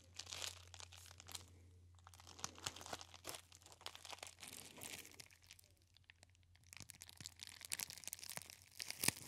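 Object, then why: Plastic bubble wrap roll. A hand-sized cylinder of clear plastic bubble wrap with air-filled bubbles is held in both hands against the ear and squeezed and rubbed with the fingertips. Close, quiet, bright crinkling and crunching comes in bursts of sharp crackles, over a steady low hum.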